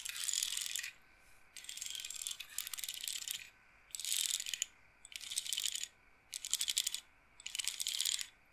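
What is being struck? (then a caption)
Wooden bead roller massager. Fingertips and nails stroke and roll the rows of wooden beads on rods in a wooden-framed bead roller massager, clacking them together. The result is a series of bursts of rapid, bright, dry clatter with short pauses between them and almost no low end.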